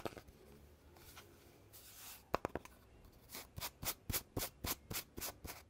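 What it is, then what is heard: Cardboard tube with metal end caps. Fingers rub along the surface of a hollow red cardboard tube with metal end caps, then twist a cap and slide it off the tube body. Soft, papery rubbing gives way to a few sharp clicks, followed by a steady run of bright, brushing scrapes as the cap slides along the tube.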